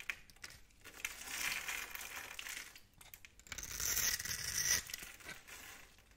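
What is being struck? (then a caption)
Soap bar. A blade tool scores a grid into the surface of a solid, hand-sized bar of pale pink soap held in the palm, then scrapes off small soap cubes. The result is bright, dry scratching and crumbly crinkling with almost no low end, coming in two longer bursts separated by a brief quiet gap.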